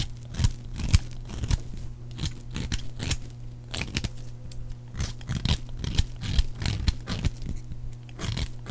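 A metal blade carves a solid, palm-sized bar of dry orange soap into flakes and chunks. Crisp, crunchy scraping and cutting strokes come in a quick, uneven rhythm, each short and bright over a steady low hum. Flakes and chunks come off the bar as it is carved.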